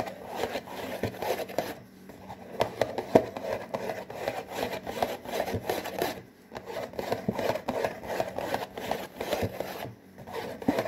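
Fingertips rapidly scratch and tap on the front panel of a hollow, printed cardboard saltine cracker box. Dry, papery scraping comes in bursts with quick taps mixed in, and its hollow, mid-pitched tone is centered low in the midrange. Brief pauses fall near two, six and ten seconds.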